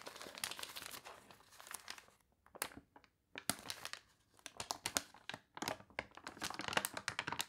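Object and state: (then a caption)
Glossy paper catalog page. Fingertips with long nails rub and press a glossy page of a paper toy catalog, then lift the page. Dense, bright crinkling and crunching comes in quick bursts, with a brief near-silent pause in the middle before the rustling picks back up.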